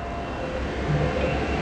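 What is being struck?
Nothing is struck.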